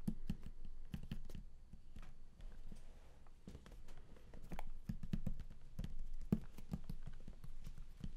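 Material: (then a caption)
Cardboard. Fingertips drum fast on the lid of a large, flat, closed and hollow cardboard game collector's box. The result is a dense, continuous patter of dull, low, hollow taps, centered around 190 Hz. Each tap dies away almost instantly.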